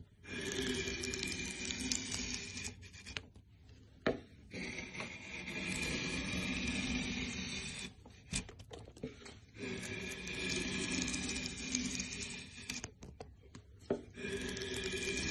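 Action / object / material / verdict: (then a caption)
scrape / softwood board / softwood / none. A curved steel scorp (inshave) is pulled across the grain of a flat, solid, light-coloured softwood board clamped on a workbench. It scrapes and peels off thick curled shavings with a sustained, bright rasping hiss in long strokes, broken by short quieter pauses and a few sharp clicks between passes.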